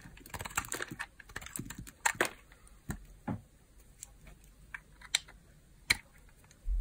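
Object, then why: Small bar of hard soap cut with a knife blade. A small, solid peach bar of hard soap, worn down to a narrow piece and held in the fingers, is carved with a utility knife blade as slices are shaved off. Dry, crisp scraping and sharp clicking cuts come in quick, uneven bursts with bright, tick-like snaps and almost no ring. A dull low thud sounds at the very end.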